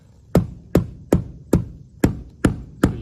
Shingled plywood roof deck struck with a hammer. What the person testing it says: you can hear the sound difference. That's hollow.